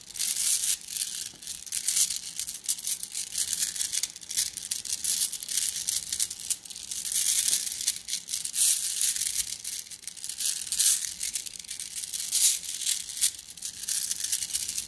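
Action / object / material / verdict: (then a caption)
shake / flat glass gems in a plastic mesh bag / glass / none. A plastic mesh bag filled with flat blue glass gems is squeezed in both hands. It makes a dense, bright crinkling and clicking rattle that swells and eases in waves, with almost nothing in the low end.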